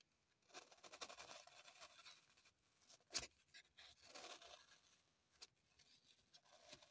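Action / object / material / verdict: scrape / green floral foam block / foam / none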